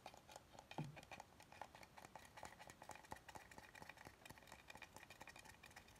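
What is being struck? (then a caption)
Wooden cutting board. Fingernails tap and scratch along the thick, rounded edge of an oval solid wooden cutting board held horizontally. The result is a quiet, steady stream of short, dry clicks and scrapes with a hollow woody tone in the midrange, plus a slightly stronger, lower knock near the first second.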